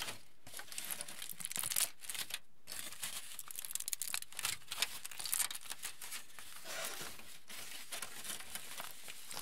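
A wrinkled aluminium foil sheet, held by its edges, is crinkled with the fingers close up. It gives a steady, quiet stream of bright, crisp crackling and rustling with sharper snaps, broken by brief pauses near the start.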